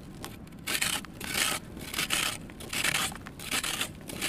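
A kitchen knife shaves and scrapes the face of a small, solid, soft and crumbly red sand cement block held in one hand over a bin of loose red powder. Repeated bright, hissy scraping strokes rise and fade with little low end, with quieter gritty crumbling between them as powder falls off.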